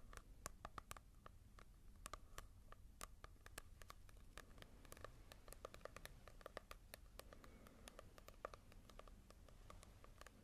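Fingertips tap and scratch on a manga volume with a glossy cover, compared with a matte one. Quick, crisp, quiet taps come in rapid irregular bursts, each with a faint bright tick and a light papery tone near 1.1 kHz. Soft scratching and a low, steady rumble run underneath.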